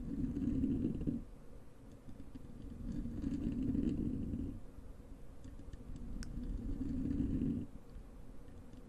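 Long acrylic nails on both hands scratch a soft, porous black foam windscreen covering a large desktop microphone. The result is a muffled, low, rumbling scrape concentrated in the low range with almost no brightness. Three louder stretches of scratching are separated by quieter, gentler rubbing.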